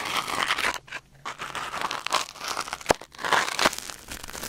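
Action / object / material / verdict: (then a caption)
scrape / silicone ear microphone scraped with a wooden ear pick / silicone / none. A thin wooden or bamboo ear pick held in the fingers scratches and scrapes inside the canal of a white silicone ear mounted on a black binaural microphone. The result is close, crinkly rustling and tearing-like scraping with bright, dense texture. Brief quiet gaps fall near one second and three seconds.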